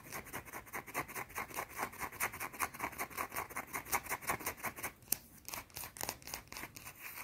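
Long teal nails rapidly scratch a round, solid white soap bar held in the hand, making fast, repeated dry, squeaky strokes with a bright, hissy edge. A brief lull around the five-second mark carries one sharp click before the quick scratching picks up again.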